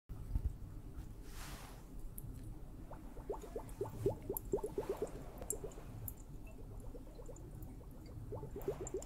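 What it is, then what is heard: Liquid-filled water hourglass. A liquid-filled water hourglass is tapped, giving a run of soft, irregular taps over a steady low rumble. Small rising, bubbly blips around the middle range, like drips or bubbles moving through the liquid, cluster in bursts after each few taps. The taps die away almost at once, with little ring.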